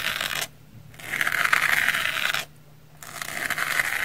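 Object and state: Foam sponge scraped with a knife.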